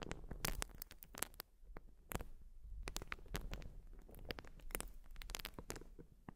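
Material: Urethane foam.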